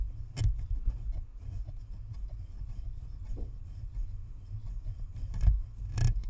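Long nails scratch across the top and perforated metal grille of a hollow, white plastic spherical Blue Snowball microphone. A boomy low rumble carries through the whole clip, broken by brief bright scraping bursts. The strongest bursts come near the start, around five and a half seconds, and at six seconds.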